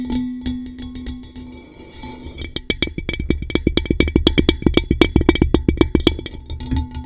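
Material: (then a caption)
Metal. A blue-coated hollow metal tumbler is tapped with long nails on its base and rim area. It starts with softer, scattered clicks over a faint ringing tone, then builds into a quick, steady run of sharp, dry taps with a low hollow knock beneath each one. A short metallic ring returns at the end.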